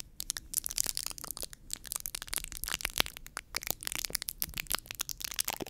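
Long nails scratch and rub a round white foam microphone windscreen with both hands. The result is a dense, steady run of dry, crackling scratches with sharp, quickly fading clicks, bright and hissy with very little low end.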